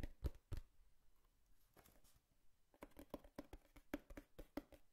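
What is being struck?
Cardboard box.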